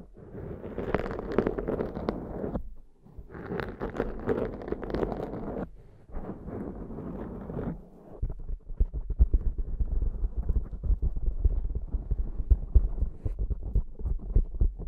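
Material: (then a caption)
Foam. Long nails on both hands scratch and stroke a large black foam windscreen on a Zoom microphone, producing close, muffled, crackly rustling. Three separate bursts of brighter scratching come first. After that, a steadier stretch of softer, deeper rubbing follows, with low thumps and bumps.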